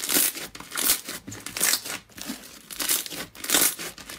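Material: Slime, foam beads.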